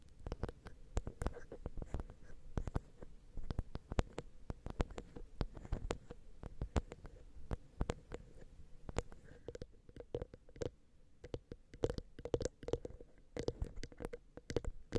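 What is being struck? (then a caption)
Small metal microphone capsules. Long nails and fingertips tap, rub and scratch along the small metal X/Y microphone capsules of a Zoom H6, close up. Dozens of quick, dry clicks and muffled thumps land in an uneven rhythm over a soft scratching rustle, with a faint steady hum underneath.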